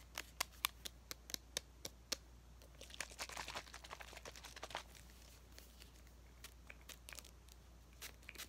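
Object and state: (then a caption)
Plastic bottle tapped and scratched. A small, hollow green plastic bottle with a cap is held in both hands and tapped or scratched with fingertips and nails. A quick run of sharp, bright clicks gives way to a denser, crinkly scratching in the middle, then a few sparse taps. A faint steady low hum runs underneath throughout.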